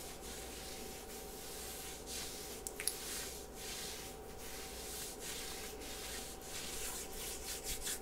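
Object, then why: Ribbed knit sweater sleeve. Long nails and fingertips scratch and rub across a pink ribbed knit sweater sleeve worn on the forearm. The result is a steady, soft, bright, hissing texture with rhythmic swells as the strokes repeat. A few tiny sharp clicks stand out near the middle and end.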